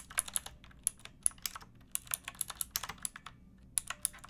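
Fingertips with long painted nails type on a pink backlit plastic mechanical keyboard with round typewriter-style keycaps and a hollow case. About two dozen quick, bright, hollow clicks and clacks come in an uneven rhythm, each dying away almost at once over a faint low hum.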